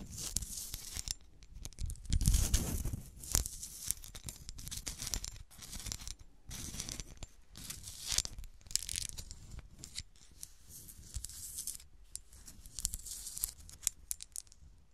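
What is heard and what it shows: A small solid cut-glass golf shoe ornament with a studded sole, held on its side, is scratched along its side and sole by long nails. Heard are dense, irregular bursts of bright, raspy scratching with soft low thumps from handling, the strokes overlapping too closely to count.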